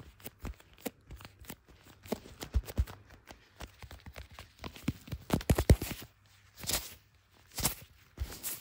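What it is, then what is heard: Smartphone in plastic case, tapped with gloved fingers. Leather-gloved fingertips tap and rub the back of a handheld blue iPhone in a clear plastic MagSafe case, near its visible camera lenses. A steady run of soft, dull taps with short, dry, low thumps builds to denser, louder tapping in the middle. Toward the end it gives way to brief bright, hissy rubbing strokes across the case.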